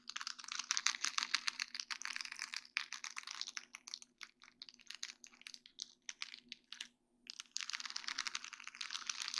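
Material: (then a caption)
Acrylic. Long dark-painted nails tap and scratch a flat sheet of small faceted acrylic rhinestones on a plastic mesh backing. The result is dense bursts of bright, crisp clicking and gritty scratching, with a sparser stretch of separate taps and short pauses in the middle before steady scratching resumes, all over a faint low hum.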